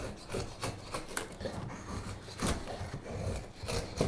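A straight steel carving knife shaves a solid light wood spoon blank. Short, bright rasping strokes of cutting and scraping repeat over a low, dry rubbing texture.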